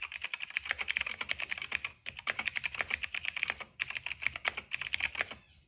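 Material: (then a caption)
Plastic. Dense fingertip typing on a cream plastic mechanical keyboard with black and purple keycaps and a hollow case. Rapid, bright, clacky keystrokes come in three bursts separated by brief pauses, each click dry and quickly damped, with the last burst trailing off into quiet.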